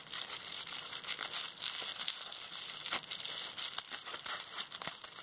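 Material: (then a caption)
Plastic. A small wad of clear plastic bubble wrap with hollow air bubbles is held up close and squeezed with fingertips and long red nails. It makes a steady, bright, dense crinkling, broken by short sharp pops and crackles, with almost no low end.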